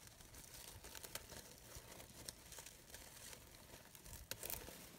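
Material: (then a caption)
Synthetic fabric. A small green-blue glittery fabric rose brooch, made of synthetic organza-like material with glitter-edged, hollow layered petals, is rubbed and crinkled by long pink nails and fingertips. A quiet, continuous bright crinkling and rustling is heard, with occasional sharper crackly ticks standing out.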